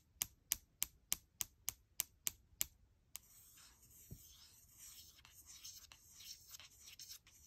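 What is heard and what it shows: A fingertip nail taps nine times in a steady rhythm on the aluminum palm rest near the lower right corner of a gold MacBook Air's thin, hollow aluminum body, each tap a quiet, bright click. The fingertip and nail then scratch and rub the palm rest, making a continuous soft, hissy, high rasp with light uneven swells.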